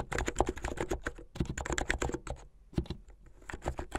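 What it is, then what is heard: Plastic mechanical keyboard. Fingertips with medium painted nails type fast on a plastic mechanical keyboard with white and blue plastic keycaps. A rapid run of short, dry clacks, each with a low thump and a bright click on top, briefly eases off around the middle before picking back up.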